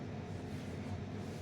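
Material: Nothing is struck.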